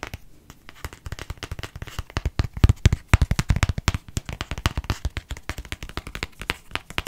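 A small light-green plastic cosmetic squeeze tube with a cap, hollow and partly filled, is held in one hand and tapped and scratched with fingertips and fingernails. A rapid, uneven stream of short, dry taps and clicks comes out, each with a low hollow thump and a quick bright scratch. Every tap dies away almost instantly.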